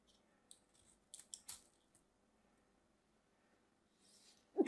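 A solid mint-green bar of soap has its edge carved and scraped with a small craft knife, leaving a crumbly cut surface. Short, crisp, bright scraping strokes come in quick bursts over a quiet background, with a louder, fuller scrape at the very end.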